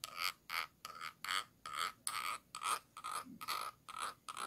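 A thin stick tool with a metal ferrule scratches the ridged bottom rim of a small, round, clear glass jar held upside down and hollow. Short, rhythmic rasping strokes repeat about twice a second, each with a bright, glassy ring centred near 1.2 kHz and a hissing high edge, separated by brief silences.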